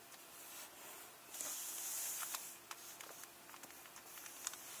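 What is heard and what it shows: Fingernails tap and scratch the crinkly plastic jacket protector on a closed hardcover book. A quiet, bright crinkling hiss swells in the middle, with several short, sharp clicking taps scattered through it. Almost no low end is heard.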